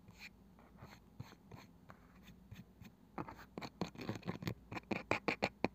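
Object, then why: Small round wooden box with woven side. Fingertips with long nails work on the pale wooden lid of a small, palm-sized round box with a woven side, which may be hollow. For the first few seconds the nails make soft, quiet scratching, then the fingertips drum in quicker, louder taps. The taps are dry and short, with bright clicky edges that stop almost at once.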